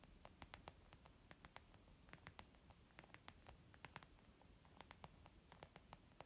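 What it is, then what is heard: Leather makeup bag. Fingertips and nails tap quickly on a white textured leather zip makeup pouch. Short, dry clicks with a bright edge rise over a steady low hiss, with no ring after each tap.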